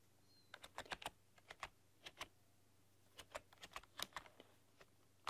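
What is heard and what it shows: Long dark-polished nails and fingertips type on a full-size plastic RGB backlit computer keyboard with black keycaps and a rainbow backlight, pressing and clicking the keys. About 19 short, sharp, bright clicks and taps come in uneven bursts, each dying away almost instantly over a faint steady low hum.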